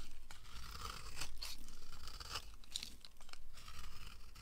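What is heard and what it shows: A solid yellow oval bar of dry soap is held in the hand and carved with a red-handled knife, and at the start the blade is briefly off the bar. The blade gives dry, crisp scraping and crunching sounds, with a low steady rumble underneath and bright flecks of shaving noise.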